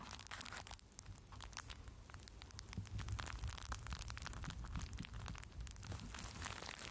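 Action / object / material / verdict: scrape / plastic bubble wrap sheet over a microphone / plastic / none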